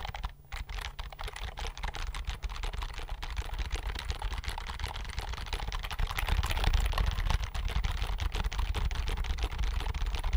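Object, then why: Plastic computer keyboard. Fingertips quickly press and tap the keys of a slim white plastic computer keyboard held tilted near the microphone. The result is a dense, fast stream of clicky typing with a heavy low thump beneath it, growing louder over the second half.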